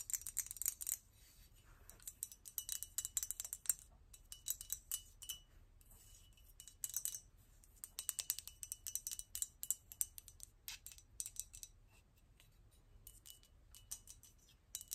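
A medium-size, hollow and apparently empty blue-and-white painted porcelain double-gourd vase is held up in one hand and tapped with long pink acrylic nails, while bangles on the wrist may clink. Quick, bright, high-pitched clicks and clinks come in rapid bursts separated by short pauses. The level stays quiet, and each tap dies away almost instantly.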